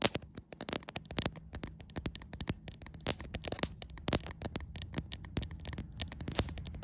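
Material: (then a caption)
Glass. Long white acrylic nails tap and scratch the glass back of a white iPhone held in the hand. A rapid, uneven string of sharp, bright clicks mixes with rough scraping, each tap dying away at once over a faint low rumble.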